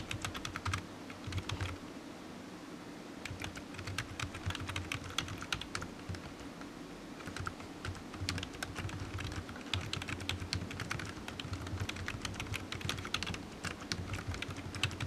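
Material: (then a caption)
Plastic. Fingertips press and tap the keys of a black plastic computer keyboard in continuous typing, a dense run of short, bright clicks that die away almost at once. A steady low hum sits beneath the clicks, and the typing pauses briefly near the start and again partway through.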